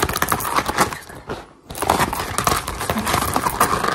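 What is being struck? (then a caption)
Rolled rubber mesh liner mat. A grey-green textured rubber mesh liner mat, rolled into a hollow tube close to the camera, is tapped and scratched fast with long gold and silver metal claw finger rings. It makes a dense stream of crinkly, scratchy taps centered around 1 kHz with bright edges, briefly dropping to near silence around the middle before resuming just as busily.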